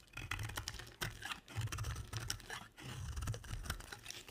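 A two-tone pink and white solid bar of dry soap, held in a hand with long nails, is shaved with a box-cutter blade. Repeated short, dry scraping and cutting strokes crackle with bright, crisp edges over a low rumble, in quick uneven bursts.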